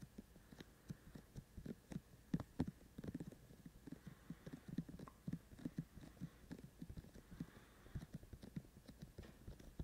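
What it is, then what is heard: Binaural microphone with silicone ears. Fingertips of both hands tap on the hollow white silicone ear-shaped shells on either side of a handheld binaural microphone with a black body. Around two dozen soft, dull, low thumps arrive in a quick, uneven patter, each dying away almost instantly, over a faint steady hum.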